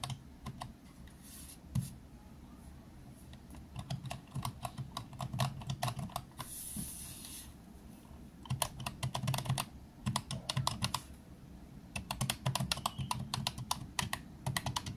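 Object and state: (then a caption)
Plastic calculator keys. Fingertips press and tap the round, typewriter-style plastic keys of a green plastic desktop calculator resting on a desk mat, making quick bursts of sharp, bright clicks over a low hum. A soft hiss briefly fills a pause between the flurries of key presses.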